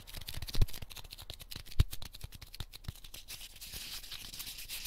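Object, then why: Corn starch packing foam piece. A small, solid, pink heart-shaped corn starch foam cushioning piece from a 100-yen shop is pinched and crumbled with fingertips and nails, leaving small fragments between the fingers. Dense, irregular crackling and squeaky crunches with bright, scratchy texture run throughout, with two sharper, louder snaps early on, before settling into a steady, softer crumbling.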